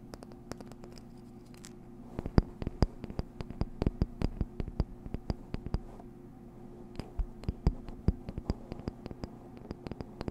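Long nails scratch and tap a small, hollow, colorful printed cardboard box about the size of a card deck, held in one hand near a fluffy microphone. Rapid dry ticks and short scratches come in dense bursts, pause briefly near the middle, then resume over a steady low hum.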